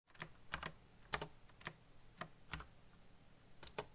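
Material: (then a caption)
Plastic. A backlit black plastic mechanical keyboard with solid keycaps on hollow key switches is typed fast with the fingertips. About ten sharp, short key clacks land in quick pairs and singles, each bright and crisp with a low thock underneath, over a faint steady hum.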